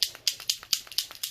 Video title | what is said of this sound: #111 - Geode Coasters in Blush, Pink & Pearl - #Geode #Coasters #Rezinarte #Colourarte #Tutorial | shake it till you hear it move